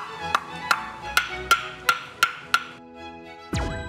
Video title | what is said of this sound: ◆명품 장작의 조건◆ 연기 NO! 거기에 맑고 고운 소리 정도는 나야죠 ( ͡° ͜ʖ ͡°)? - 서민갑부 372 회 | 잘 마른 장작에 맑고 고운 소리가 느껴지시나요